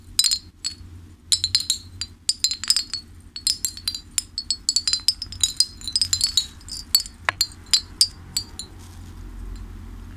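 A hanging ceramic fish wind chime, with a clay bell-shaped top, fish-shaped ceramic pieces and bead strings, is held up and shaken and flicked by hand so the pieces clink together. It gives a quick series of bright, high, short clinks in irregular bursts over a faint low hum. The clinking thins out toward the end.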